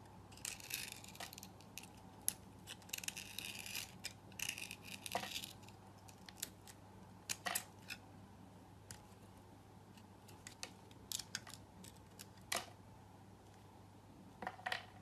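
A solid orange bar of soap, held in the hand, has long ribbons sliced off it with a utility knife blade. The result is a series of quiet, crisp, bright scraping and shaving sounds in short bursts, some longer and hissier, over a faint steady low hum.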